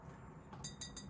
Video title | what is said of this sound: DIY Skull Bottle Makeover - Thrift Flip with Checks, Bling & Sparkle Home Décor | This is not ceramic though. This is metal.